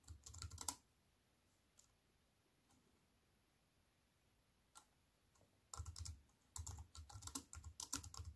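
Fingertips with long nails type on a wireless keyboard with black plastic keys set in an aluminium frame. A quick burst of bright, clicky keystrokes with a soft low thump opens the clip, followed by a quiet pause broken by a few isolated taps. Then rapid, irregular typing resumes through the end.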